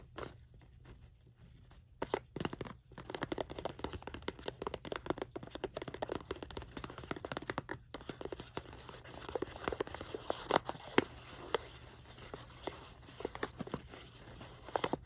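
A small green polka-dot printed cardboard gift box with a Santa design and a white rope handle stands closed on a rug. Long nails tap and scratch its flat side, and the fingers also touch the rope handle. The result is a dense run of quick, dry clicks and scratchy rasps with no ringing.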